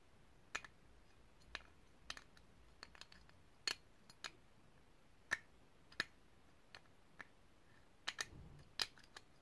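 A small, hollow, ridged brass herb grinder held in the hands is tapped with long painted nails and turned. About seventeen quiet, sharp, bright clicks land at irregular intervals, each dying away almost instantly, with a soft scraping rub near the end as the grinder is turned.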